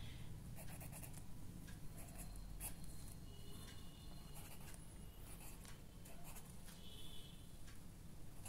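A ballpoint pen writes on the right-hand page of an open lined paper notebook lying flat. The pen tip scratches and glides across the paper in short, soft strokes over a low, steady rumble, with brief bright scratchy bursts throughout.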